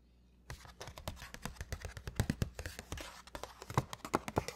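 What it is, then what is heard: Paper shopping bag, tapped and scratched. Fingertips wearing rings tap and scratch the front panel of a large black-and-white striped Sephora paper gift bag with rope handles, hollow and partly filled with pink tissue paper. After a brief silence, a quick, uneven run of dull, low, papery taps begins, mixed with soft scratchy rustling and a few sharper, louder knocks near the end.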